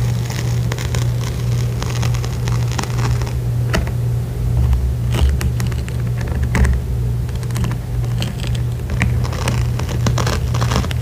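Long pointed acrylic nails tap and scratch on the surface of a small printed fabric makeup pouch with a zipper. The result is a steady patter of soft, quick clicks and rustling scrapes with brief bright ticks over a constant low hum.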